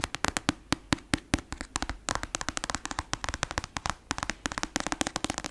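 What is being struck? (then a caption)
Paperback book with glossy card cover. Long acrylic nails tap and scratch quickly on the glossy cover of a black paperback novel, a solid paper block. About 37 sharp, dry clicks with almost no ring come in a rapid, uneven stream, each a bright snap over a faint scratching rustle.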